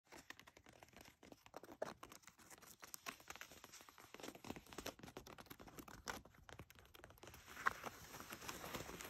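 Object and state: Denim jeans scratched with nails.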